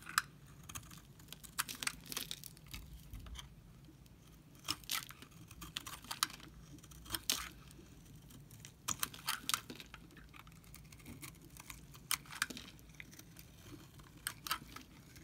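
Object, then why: Soap bar scraped with a knife blade. A utility knife blade scrapes along the cut face of a solid, dry pink Camay soap bar that is already partly shaved, peeling off soap curls. Many short, dry, crisp scraping and crackling strokes come in uneven bursts, bright in tone, with little low end and no ring, over a faint steady hum.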